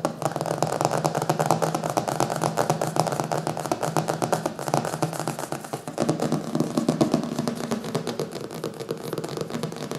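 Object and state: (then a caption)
Hardcover book. Fingertips and nails quickly tap and scratch across the glossy printed paper front cover of a closed, solid "Zombies" hardcover book resting on a wooden table. The result is a dense, rapid stream of short, dry taps layered with scratchy friction, centered in the mid range. The level stays fairly steady, dipping briefly around the middle before picking up again.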